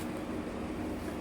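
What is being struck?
Nothing is struck.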